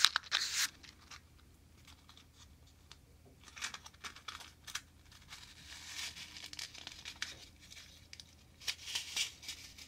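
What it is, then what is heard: Cardboard matchbox rubbed and slid open. A small, hollow printed cardboard matchbox full of red-tipped wooden matches is held in both hands, rubbed with fingertips and has its inner tray slid open. The result is a quiet, bright sanding and rubbing sound with crisp, papery scratches and short bursts of friction. It comes in irregular strokes rather than a steady rhythm.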